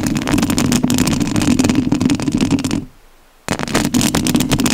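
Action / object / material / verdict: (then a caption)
scrape / metal mesh microphone grille / metal mesh / none. Long nails scratch the metal mesh grille of a rhinestone-covered studio microphone, making a dense, rapid, irregular raspy scraping with a strong low-mid body and bright crackle on top. The scratching stops for about half a second of near silence, then resumes just as busily to the end.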